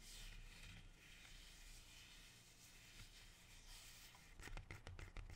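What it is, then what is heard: Rubber plant leaf. A large, dark green, glossy, leathery rubber plant leaf is held close to the mic and slowly rubbed and squeezed with fingers and dark-painted nails. It makes a soft, steady brushing rustle over a low rumble. Near the end, sharper, crisp crackles and clicks burst through.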